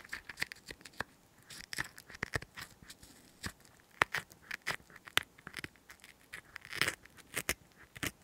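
A cotton swab stick is pushed into a hollow green chili pepper half held in the hand and scraped around inside, while fingers scratch and rub the pepper's skin. The result is a quiet, uneven series of short, crisp scratching and crackling clicks with a bright, dry edge and no ringing.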